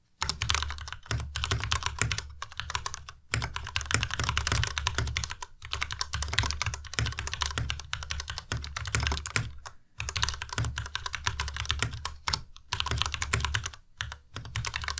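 Fast, steady typing on a white plastic tenkeyless Ducky Miya Pro mechanical keyboard with Cherry MX Red switches and RGB backlight, its hollow case resting on a desk mat, as both hands tap the keys with fingertips. Dense bursts of bright, clacky keystrokes ride over a deep, hollow thock, broken by a few brief pauses.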